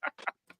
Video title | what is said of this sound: #JETS CALL-IN REACTION SHOW | there's something in there it rattles around when I shake it